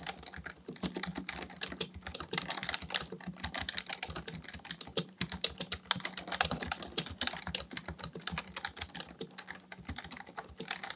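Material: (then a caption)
Plastic. Both hands' fingertips type continuously on a black plastic full-size Dell KB1421 membrane keyboard with a hollow housing, resting on a desk. A rapid, uneven stream of short, bright, clicky taps plays throughout, each dying away almost instantly, over a faint steady low hum.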